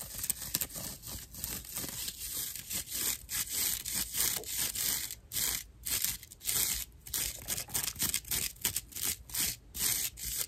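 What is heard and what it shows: Long nails scratch across the coarse fiber surface of a dry natural loofah sponge slab. The result is a bright, rough rasping in quick, uneven strokes, each a short burst of crackly scraping noise with little low end and no ring.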